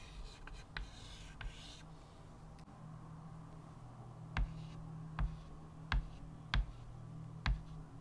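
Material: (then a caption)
Chalk. A stick of white chalk held in the fingertips scratches short strokes across a small square chalkboard with a wooden frame, lying flat on a table. Soft, dry scratching fills the first two seconds over a steady low hum. It is followed by five sharp, brief chalk taps spaced out over the final four seconds.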